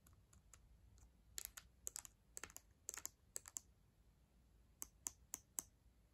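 Long acrylic nails slowly press and click the plastic keys of a black ThinkPad laptop keyboard, a solid device. Sharp, bright clicks come in small uneven clusters with brief pauses, each dying away almost instantly over a quiet background hiss.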